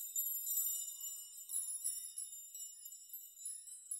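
Fingers brush a steel nail chime of many long hanging steel nails, making them sway and rock so they clink together. A continuous stream of bright, high metallic tinkles with short rings overlaps throughout, with no low end at all.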